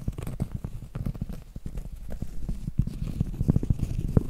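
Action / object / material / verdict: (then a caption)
tap / round cork board / cork / none. A large, round, solid cork board held upright has its face scratched and tapped with long acrylic nails. Rapid, dull, muffled taps with a low thud and very short decay mix with soft scratchy rustling. The sound is mostly low-pitched with almost no bright content.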